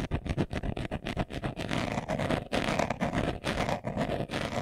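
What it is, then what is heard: Leather glasses case being scratched. A hand-sized, hollow, closed brown leather-covered glasses case, held in both hands, is scratched fast across its surface with short nails and fingertips. The result is a rapid run of short, dry scratching bursts, separate and choppy at first, then merging into a denser, steadier rasp. The sound has a hollow, mid-pitched resonance and little bright top end.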